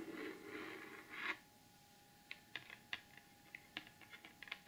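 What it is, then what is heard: Glitter-coated cardboard gift box tapped with nails. Long almond acrylic nails scratch across the lid of a large, closed, hollow rectangular cardboard gift box with a gold glitter finish and the Beauty Blvd logo, making a gritty, hissy scrape for just over a second. After a short quiet pause, the nails tap the lid about ten times, giving sharp, bright clicks that stop almost instantly.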